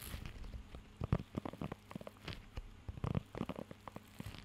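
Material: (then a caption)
Rubber. Fingertips scratch and tap across the raised nubs of a blue rubber pet grooming glove held close to the mic. The result is a series of soft, dull, low-heavy taps and crackly rubbing sounds with very little brightness, clustering into two denser bursts around one second and three seconds, over a faint low hum.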